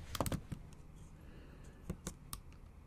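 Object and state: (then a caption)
Laptop keyboard with plastic keys. Long almond-shaped acrylic nail tips type on the backlit black plastic keys of a MacBook Pro set in a silver aluminum body, a hollow device. A quick burst of taps comes first, then scattered single taps further apart. Each tap is a short, dry click with a low, hollow thud and a bright tick, fading almost at once into a quiet background.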